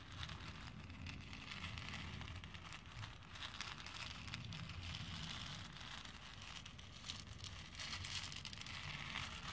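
Fingertips press into and stir a pink plastic bowl of small plastic faux pearl beads. A steady, dense clatter of tiny clicks and crackles runs throughout, with a low rumble underneath. The level stays fairly even for the whole clip, with small swells as the stirring shifts.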